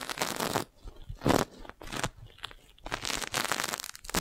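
A clear, crinkled, thin, hollow plastic magic balloon bubble about the size of a fist is held beside the mic and tapped with long nails. Bursts of dry, crinkly crackling and crunching come through close and bright, separated by brief quiet gaps.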